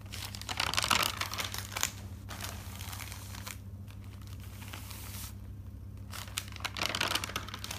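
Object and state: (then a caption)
Thick paper notebook, pages flipped. Fingertips with dark-painted nails lift and flip single pages of a thick notebook, a large stack of white paper sheets bound together and lying on a table. Bright, crinkly paper rustles and flutters swell at the start and end, with a softer rustle in between. A faint, steady low hum runs underneath.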